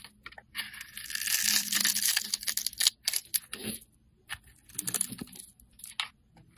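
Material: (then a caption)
Soap. A metal blade scrapes the surface of a solid orange oval bar of soap held in hand, shaving off fine curls. A long, bright, rasping scrape builds in the first few seconds, then breaks into shorter crisp scratches separated by brief quiet pauses.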